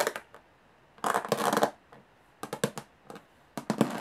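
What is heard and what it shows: Long fingernails tap on the textured metal lid of a small, hollow aluminum briefcase. Quick, bright clicking taps come in short bursts, with a denser rapid flurry near the middle. Each tap dies away almost immediately.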